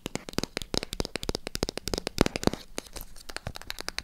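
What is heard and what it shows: Long acrylic nails tap and scratch the sides of a small, hollow white cardboard product box. About thirty quick, dry clicks sound in a rapid, uneven patter, each dying out almost instantly. Soft scratchy rustling fills the gaps between them.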